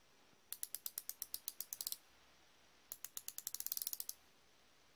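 A solid chrome-plated steel flexible-head ratchet wrench is held in one hand while the thumb and fingers rotate the ratchet head. The pawl gives two runs of rapid, bright, dry clicks that speed up toward the end of each run, then a single click at the very end.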